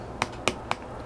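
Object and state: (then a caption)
Full canned meat tin. Three quick, separate taps on an unopened metal can of Spam, done to check it before opening. Each tap is a short, bright click centered in the mid and upper frequencies that fades almost instantly. The can sounds good and full.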